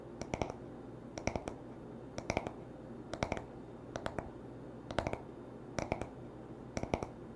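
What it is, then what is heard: Wooden hairbrush back. Fingertips and short nails tap the smooth, solid wooden back of a paddle hairbrush lying on a towel. About eight quick bursts of two to four sharp, dry clicks come roughly once per second, each click with a bright edge and almost no ring. A faint low hum sits underneath throughout.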